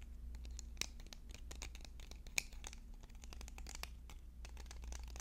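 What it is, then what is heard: Wooden pencils. Fingernails rapidly tap and scratch along a bundle of several sharpened yellow wooden pencils held in the hands. The result is a fast stream of short, dry, bright clicks and scrapes over a steady low hum, with a few louder taps standing out.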